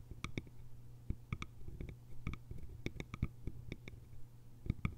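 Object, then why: Small hollow bamboo container with lid. Long nails tap the top and sides of a small, hollow, cylindrical bamboo container's lid in a quick, irregular run. Each tap is a short, dry click with a faint bright ring. A low, steady hum runs underneath throughout.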